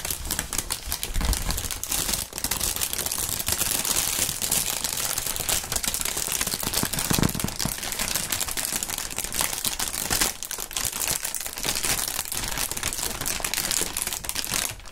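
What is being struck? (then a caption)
Polyethylene air-cushion packaging film. Clear polyethylene air-cushion packaging film, the plastic air pillow kind, is crumpled and shaken in both gloved hands. It makes a steady 15-second stream of dense, bright crinkling and crackling with quick, dry snaps. A soft low rustle sits underneath, and there are brief dips and swells as the handling shifts.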